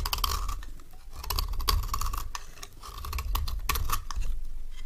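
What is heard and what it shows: A palm-sized solid bar of dry orange soap, held in one hand, is repeatedly shaved with a metal knife held in the other, the rhythmic scraping strokes peeling off thin curls. Each stroke gives a crisp, dry scratch with bright edges and a steady mid-range rasp, over a low, soft rumble between strokes.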